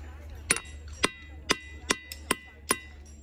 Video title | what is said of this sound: Ringing Rocks? | sounds almost hollow